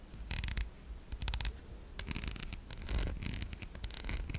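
A white, solid oval bar of soap with an embossed logo is held in one hand while long acrylic nails scratch across its surface. Short, dry scratching bursts come in uneven clusters, bright and hissy on top over a soft low rumble. Each stroke stops almost at once with no ring.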